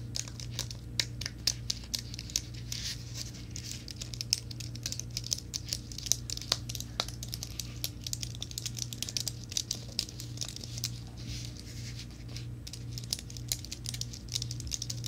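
A slim white plastic and aluminum wireless keyboard is held upright near the microphone while fingertips and nails tap and scratch its plastic keys. Rapid, crisp, bright clicks and crinkly scratching scatter throughout over a steady low hum.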